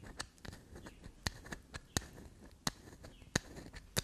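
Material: Soap.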